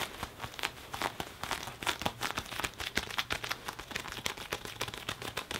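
Fingertips and a palm rub and squeeze the padded, soft sleeve of a black leather (possibly faux leather) jacket, worn with the arm crossed in front of the chest. A steady run of dry, bright crinkling and creaking with many short, sharp crackles comes over a faint hiss, with little low end.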